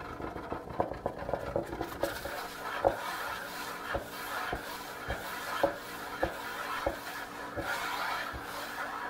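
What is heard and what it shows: Fingertips and nails tap and scratch quickly across the flat surface of a large solid wooden kitchen countertop, leaving nearby tins and a jar untouched. Soft scratching and rubbing runs throughout, broken by sharp, dry taps that die away almost at once, most of their sound sitting in the lower mids.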